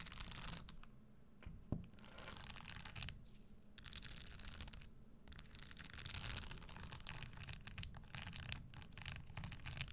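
Long green acrylic nails scratch and tap across the studded upper of a single empty, hollow red leather Christian Louboutin stiletto pump with a pointed toe and small red spikes, resting on a wooden table. The result is quiet bursts of bright, hissy, high-pitched scratching and clicking with brief pauses between, over a soft low rumble.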